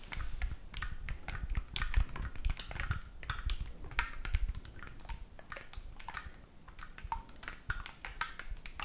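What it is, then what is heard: Oboe keys being tapped. Fingertips repeatedly press and tap the silver metal keys of a hollow black oboe held near the chest and face, with no blowing. The result is a rapid, uneven stream of short, dry clicks with bright tips over a soft low thumping from the hollow body, with no sustained tone.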